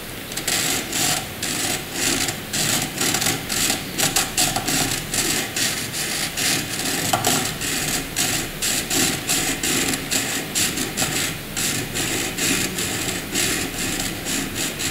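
A wooden graphite pencil hatches short strokes on white paper beside a drawn circle, its tip scratching the surface. The result is a steady, rapid series of dry, bright scratching strokes, with most of the energy in the high range and little low end.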